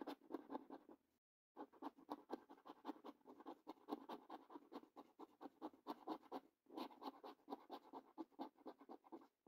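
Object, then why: Paper lottery scratch card scratched with a coin. The edge of a coin scratches the coating off the symbol panels of a thin cardboard Coffee Break National Lottery scratch card lying flat. Quick, dry, raspy strokes repeat in an uneven rhythm with a bright, papery texture, broken by a short silence near the start and a brief pause later on.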